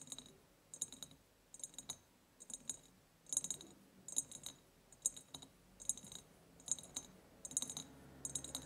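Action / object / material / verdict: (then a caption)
tap / ribbed glass jar / glass / none. Long painted nails tap and scratch the ribbed sides of a large empty glass jar with a white ceramic lid. Quick, bright clicks come in short clusters of several taps with soft scratching between them. Each tap is crisp and high with almost no ring, repeating steadily for about 9 seconds.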